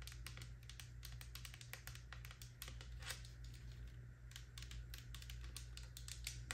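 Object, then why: Textured plastic lotion bottle. A full-looking pink faceted plastic body lotion bottle with a gold pump cap is held in the hand and tapped rapidly with long nails. The result is a quick, uneven stream of sharp, bright clicks with very short decay, over a steady low hum.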